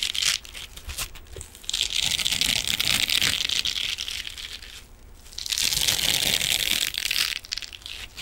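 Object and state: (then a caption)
Metallic mesh scrubbing sponge. A hand-sized silver metallic mesh scrubbing sponge is scratched with fingernails and squeezed with fingers. Dense, bright crinkling and scratching comes in two long bursts, around 2 to 3.5 seconds and 5.5 to 7.3 seconds, with quieter crackles in between.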